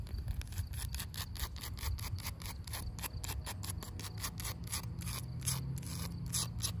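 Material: Wood.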